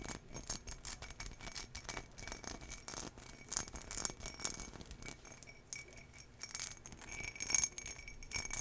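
Long nails scratch over the textured pattern of an empty turquoise embossed glass tumbler. The result is a dense stream of quiet, bright scratching and tapping with occasional louder clicks, over a faint steady high ring from the glass.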